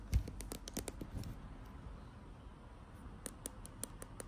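Long acrylic nails tap on a filled plastic foundation tube, making quick, light clicking taps with a soft low thump behind them. A cluster of taps comes in the first second and a half, then a quiet stretch, then more spaced taps near the end.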